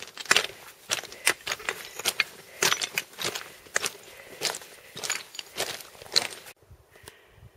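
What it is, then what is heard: Loose scree underfoot. Loose scree rock fragments shift and clink underfoot as hikers cross a scree slope in a steady run of sharp, bright crunching steps. The short, glassy, tinkling clatters have almost no low end and die away instantly. They stop abruptly near the end, leaving a faint, quiet tail.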